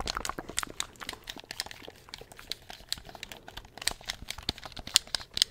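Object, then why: Plastic game controller. Fingertips press and click the buttons of a handheld black plastic gamepad in a rapid, irregular series of short, dry clicks. The clicks are bright and high with almost no low end, and each stops instantly with no ring.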